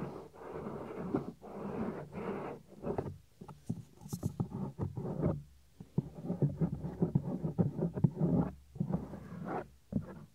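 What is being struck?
Soft silicone ear cover of a binaural microphone.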